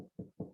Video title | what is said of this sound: Gary Bostock's Home Inspection Series - House Age | it also obviously sounds different if you were to knock nice and hollow